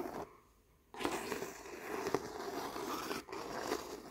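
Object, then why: Acrylic painting on stretched canvas. Fingers and nails rub and scratch across the weave of a stretched canvas painting with thick, glossy acrylic petals. A short scrape is followed by a near-silent pause, then a steady, dry, crackly scratching with a few sharper ticks and a brief drop before it resumes.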